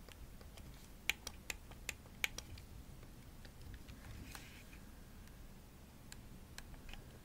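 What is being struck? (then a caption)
Plastic game controller. Long nails tap the triggers and shell of a hollow pink plastic Xbox controller, held by its top edge. A burst of sharp, bright clicks comes early, then a soft scratchy brush, then a few lighter taps near the end. Each click stops almost instantly over a low, steady background hum.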